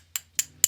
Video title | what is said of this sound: When Bayverse And G1 Finally Blended Together - #transformers AOE Evasion Mode Optimus Prime | I don't think it's diecast no it sounds like plastic